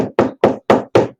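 Five evenly spaced knuckle knocks with a dull, boxy mid-low thump show a hollow drywall partition.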